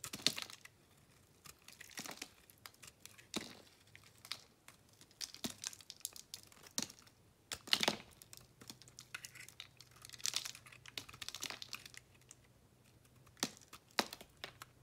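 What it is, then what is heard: Bar soap being carved. A thin metal blade shaves and carves crunchy chunks off a solid pink soap bar held in a hand with dark painted nails, making repeated scraping cuts. Each cut is a crisp, bright, crackly scrape that stops short with no ringing, separated by quiet pauses over a faint low hum.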